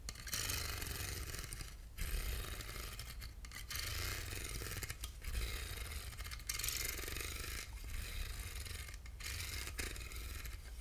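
Short fingernails scratch across the grooved ribs of a small, hollow, handheld silver aluminum box. It makes a steady, bright, raspy scraping in long passes separated by brief pauses, over a low hum.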